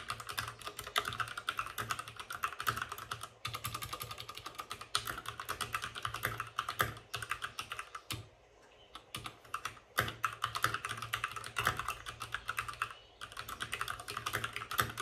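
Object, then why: Mechanical keyboard with plastic keycaps and plastic case. A white RGB-backlit plastic mechanical keyboard with plastic keycaps and a hollow plastic case is typed on fast by the fingertips of both hands. A steady stream of short, bright clacks runs throughout, with a low hum beneath and brief pauses near 3.4, 8.5 and 13 seconds.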